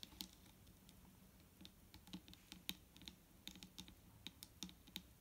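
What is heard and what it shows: Long nails on both hands tap quickly across a large, clear plastic micellar water bottle that is full of liquid and lying flat. The result is a fast, uneven run of sharp, bright clicks that die away almost at once, over a faint low hum.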